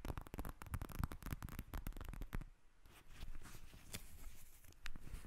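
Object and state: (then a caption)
Plastic gel bead eye mask. Long nails tap and scratch a pink plastic eye mask filled with gel beads, lying in front of the recorder. A rapid run of dull, low, squishy taps gives way after a brief pause to softer scratching with occasional sharper clicks.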